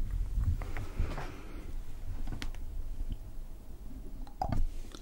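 Fingertips and short nails of both hands scratch across a hollow, silver metal mesh microphone grille, with the mouth occasionally open. The scratching comes through as a dense, low, rumbling rustle with a few brief, brighter scrapes and clicks scattered on top, swelling louder near the end.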